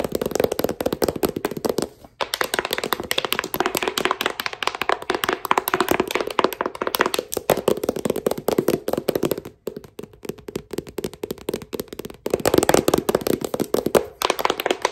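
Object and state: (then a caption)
Paperback book tapped with metal fingertip caps. Fingertips wearing brass thimble-like caps tap rapidly on the cover of a glossy paperback book held close by. The result is a dense, continuous stream of short, dry clicks centered in the midrange, broken by a few brief pauses.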